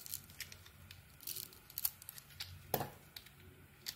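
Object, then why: Soap bar cut with a metal blade. A metal utility blade shaves curls off the speckled outer layer of a solid, speckled cream Lux soap bar held in the palm. Quiet, bright, crisp scraping and cutting strokes come in short bursts over a low background hum, with one sharper, louder scrape near the end.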